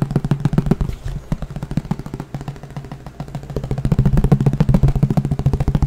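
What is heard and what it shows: A green plastic frisbee, thin and hollow underneath, is tapped rapidly with the fingertips right beside the microphone. The result is a fast, somewhat uneven stream of short, dull, hollow knocks with a low boomy body. The tapping eases a little in the middle and then picks up louder toward the end.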